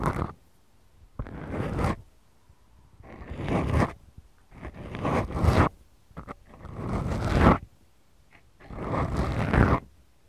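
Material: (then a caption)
Foam. Long glittery manicured nails squeeze and scratch two small black foam windscreens on the mic capsules of a Tascam DR-40X recorder. The result is a series of slow, deep, rumbling scrapes, each swelling and cutting off, separated by quiet gaps and a few short ticks.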